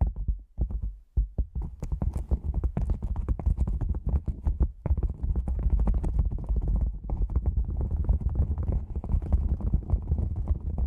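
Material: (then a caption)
Nylon. Fingertips and long nails tap on the top edge of an upright black padded nylon lens pouch shaped like a hollow cylinder. The taps form fast, dense runs of short, deep, muffled thumps with a hollow, drum-like boom and almost no brightness. A few brief pauses break up the tapping early on and just before the five-second mark.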